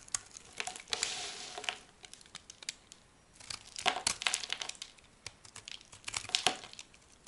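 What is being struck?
Soap bar cut with a small knife.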